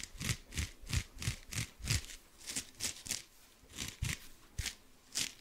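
Fingernails scratch and rub a dry blue kitchen sponge with a porous cellulose side and a scouring pad side. About fifteen short, irregularly spaced scratchy strokes are heard, each a soft low thump blended with a bright, hissy rasp that stops almost at once.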